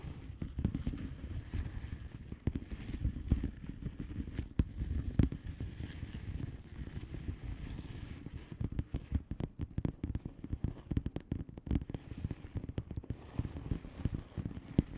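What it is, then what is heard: Plastic bubble wrap envelope. A flat blue plastic bubble wrap envelope is tapped on its bubbles by the long fingernails of both hands. The result is a steady stream of soft, dull, muffled taps with little ring, sitting mostly low with almost no bright content. The taps grow denser and more uneven in the second half.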